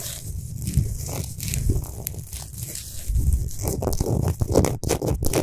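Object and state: Himalayan rock salt lamp being scratched.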